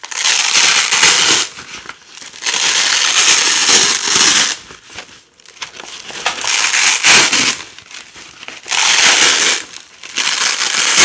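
Orange and yellow nylon hook-and-loop (velcro) strips of thin, flexible fabric are held in fingers with long decorated nails and peeled apart. Each rip is a loud, bright, crackly tearing sound with almost no low end, separated by quieter pauses.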